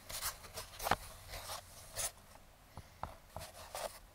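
A metal claw fingertip pick scratches along the surface and edges of a small, closed, brown kraft cardboard box. It makes a series of short, dry, crunchy scraping strokes with a bright, papery rasp and little low end. Each stroke stops almost at once, with quiet pauses between them.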